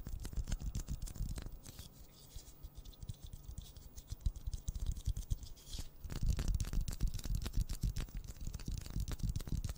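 A pink plastic ball is tapped rapidly and unevenly with fingers, making dense, dull, low thumps with short, bright clicky edges and almost no ring. The tapping grows softer and sparser in the middle, then picks back up into a busier, louder patter toward the end.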